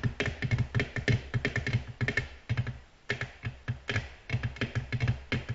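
Natural long nails from both hands, moving close together, tap fast on a flat, solid, reflective black glass tabletop, with light nail scratching between taps. Quick bursts of short, dry clicks carry a low thump and bright edges, each dying away almost at once, with a brief lull around the middle.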